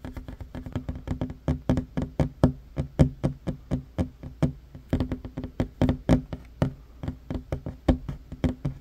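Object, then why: Wooden tabletop. Short fingernails of one hand tap quickly on a large, solid, worn wooden tabletop. Dozens of dull, low knocks come in uneven rapid runs, each dying away almost instantly with little brightness.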